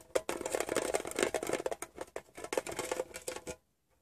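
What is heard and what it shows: A fingertip taps rapidly on the side panel of a closed, hollow, rectangular printed metal Wrigley's gum tin. The result is a quick run of light, dry clicks with a faint metallic ring around 530 Hz and almost no low end. The clicks stop just before the end, leaving brief silence.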